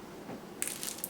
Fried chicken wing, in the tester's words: You hear that crispiness? Like they're really really crispy